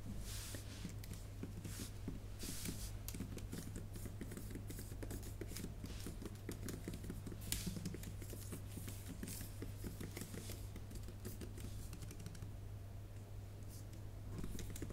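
A MacBook Pro keyboard with plastic keys in an aluminum body is typed on with long painted nails and fingertips. Quiet, rapid clicks and taps patter steadily for about fifteen seconds, with a few sharper, bright nail ticks. A constant low hum sits underneath throughout.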